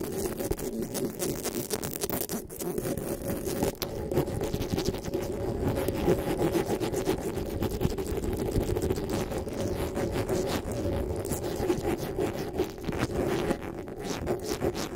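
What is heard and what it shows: Long pink acrylic nails and fingertips scratch and rub fast over the hollow metal mesh grille of a black desktop USB condenser microphone on a stand, played back at double speed. The result is a dense, continuous stream of rapid scratchy rasps with a steady, muffled low-mid body and little high sparkle, holding an even level for the whole clip.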